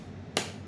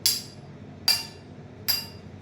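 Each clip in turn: First: dull plastic object, non-metal. Second: sonorous metal object.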